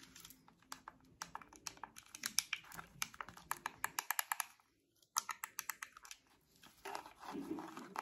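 Long acrylic nails tap and click on the hollow ear cups of purple and white plastic over-ear wireless headphones, making a rapid series of sharp, bright, dry clicks with almost no ring. The tapping stops for a brief silence near the middle, resumes, and ends with a softer, denser scratching rustle.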